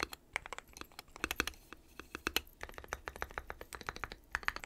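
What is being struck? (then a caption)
Mechanical keyboard with plastic keycaps. Fingertips type on a dark metal-cased mechanical keyboard with white and pastel plastic keycaps, sometimes with one finger and sometimes with both hands. The result is an uneven stream of short, sharp, bright plastic clacks that stop almost instantly, with little low end and quiet gaps between bursts.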